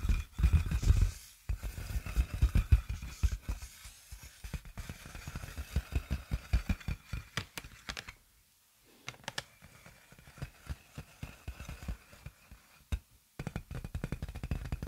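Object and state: Plastic air-column packaging.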